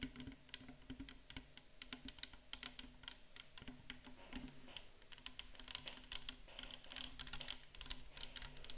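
Long acrylic nails tap and scratch quickly along the sides of a tall, clear plastic micellar water bottle that is mostly full of pale liquid. The quiet, crisp clicks are bright and very short, over a soft scratching texture and a faint low hum, and they grow slightly denser and louder toward the end.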